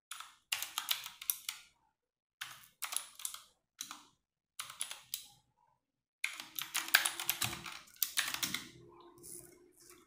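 Fast typing with fingertips and long nails on a compact 60% RGB-backlit mechanical keyboard with plastic keycaps, resting on a wooden desk. Bursts of bright, sharp plastic clacks come in quick flurries separated by short pauses. A denser, longer run near the end adds a faint low resonance under the clicks.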